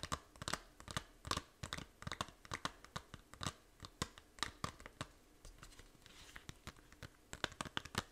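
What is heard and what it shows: Long nails scratch the back cover of a small, hollow plastic 3DS game case, producing a rapid series of sharp, dry, crinkly scrapes. Each scrape stops almost instantly, with no ring afterward.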